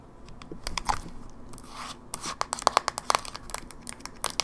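A closed, small silver plastic GameBoy Advance SP with a hollow casing is held in the hand and tapped fast with long fingernails on the top lid and hinge side. The taps come as a quick, uneven run of sharp, dry plastic clicks, centered around 1 kHz with bright high edges and a faint crinkly scraping between them. Each click dies away almost instantly.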